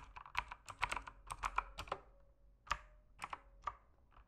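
Fingertips type on a backlit mechanical keyboard with plastic keycaps, producing about 15 quick, crisp clacks with bright clicky tops. The keystrokes come in an uneven rhythm, with a brief pause in the middle, and each one dies away almost instantly, leaving only a faint steady low tone underneath.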